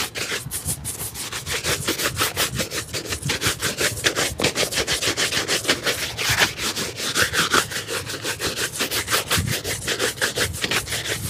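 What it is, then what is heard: Leather shoe being brushed. A dark leather shoe with a rubber sole, hollow and empty and held in the lap, is brushed briskly with a wooden-backed bristle brush. Dozens of quick, fairly steady back-and-forth strokes make a bright, scratchy swishing that is mostly high hiss with little low end.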